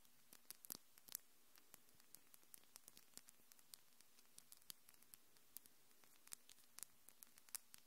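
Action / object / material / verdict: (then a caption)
tap / acrylic fingernails / acrylic / none. Long, hard, thin pink acrylic nails with purple glitter tips are tapped against each other by the fingers of both hands just above a Tascam recorder, which is not touched. Quick, sharp nail-on-nail clicks sound in irregular bursts, each bright and dying away almost at once over a faint steady hiss.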